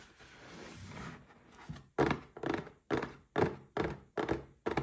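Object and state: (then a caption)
Cardboard gift box. A small red printed cardboard gift box holding a Paladone Mario Kart glass is turned in the hands with a soft rustling scrape, then tapped with fingertips and short nails. Eight hollow, dull thunks follow at an uneven pace, each centered around 400 Hz and dying away quickly.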